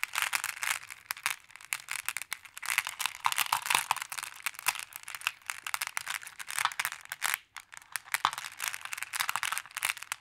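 Flat hands with long blue nails press on, tap and scratch over a pile of small solid colored glass pebbles in a wooden tray. The result is a dense, continuous stream of bright clicks and crisp rattling with almost no low end, broken by a brief quiet pause about three quarters of the way through.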